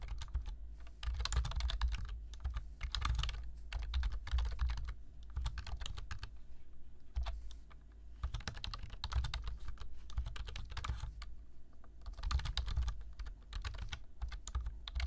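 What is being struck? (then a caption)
Plastic computer keyboard. Fingertips type on a black plastic computer keyboard, producing bursts of fast, bright key taps separated by short pauses. A steady low hum sits underneath the clicking throughout.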